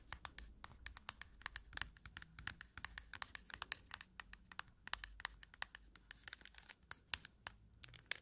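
Long nails scratch and tap the plastic back of a round cushion compact case, then move to its quilted lid. The result is a quiet, rapid stream of sharp, bright clicks and ticks that stop almost instantly, with soft scratching between them and very little low end.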